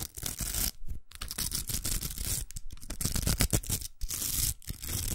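A large, hollow, pink plastic hair roller covered in velcro hooks is held in the hands and scratched and tapped with long acrylic nails. The result is a rough, crackly rasp of dense scratching strokes, bright and gritty like tearing, broken by a few brief pauses with quick taps mixed in.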